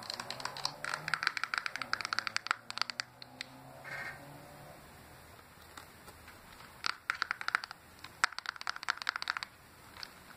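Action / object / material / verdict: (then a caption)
tap / plastic handheld game console casing / plastic / none. Fingertips and painted nails tap quickly on the casing and screen area of a small, hollow, silver plastic Game Boy Advance SP clamshell handheld console held open in the hand. Rapid bursts of dry, bright, clicky taps with almost no low end come in flurries, then fade into a quieter stretch of faint scratching and rustling before another fast burst of tapping resumes.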